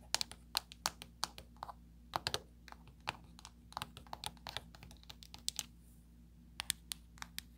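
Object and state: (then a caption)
Plastic remote control with rubber buttons. Long pointed nails tap rapidly on the small rubbery buttons of a flat black plastic LED light remote control lying on a table. Around thirty short, dry, bright clicks come in uneven bursts with pauses, each dying away at once, over a faint steady low hum.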